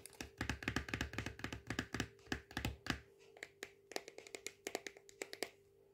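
Fingertips and nails tap the side and red cap of a small plastic bicarbonate of soda tub in a quick, uneven run of short, dry taps. For the first three seconds the taps come thick and fast with a hollow, thumpy body. After that they thin out into lighter, brighter clicks over a faint steady hum.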